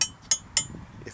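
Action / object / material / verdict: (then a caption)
tap / metal aircraft propeller / metal / sound. The propeller of a Super Stinson 108-1 with a Franklin 220, worn and due for refinishing and rebalancing, is tapped three times during a preflight walkaround. Each tap gives a bright, high-pitched metallic ring that fades quickly. The clear ring shows the propeller is not cracked.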